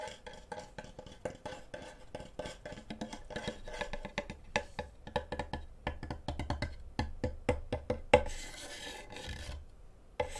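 Fingernails scratch and rub along the surface and edge of a flat, solid, light wooden cutting board held in front of a microphone, with a wooden-handled knife lying on top. The result is a rapid run of dry, clicky scrapes with a woody midrange tone, followed by a longer, hissier rasp and a final sharp tap.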